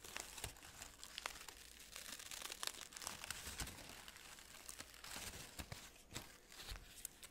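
Fingertips squeeze and crinkle the large red-orange synthetic fabric petals and green plastic buds of an artificial orchid spray held up close. The result is a continuous, bright rustling crinkle full of quick crackles and sharp papery snaps that dies away almost instantly, with little low end.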